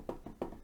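A desk is knocked on by hand to let its sound be heard, giving four quick, dull knocks with a low-mid thud and almost no ring. The knocks are soft and muffled, with no bright edge.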